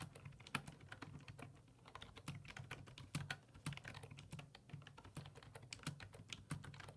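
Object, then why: Plastic desktop keyboard. Fingertips type rapid key presses on a black plastic full-size desktop keyboard with low-profile keys resting on a wooden desk. A steady stream of short, crisp taps with bright clicky tops and a soft low thump beneath each press, every click dying away almost instantly.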